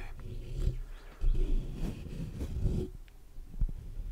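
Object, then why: Metal mesh microphone grille. Short fingernails and fingertips scratch and tap the black metal mesh grille of a large hollow USB condenser microphone. Close, deep, rumbling scrapes are broken by dull, boomy thumps, with nearly all the energy in the low end and almost no brightness. The taps decay quickly.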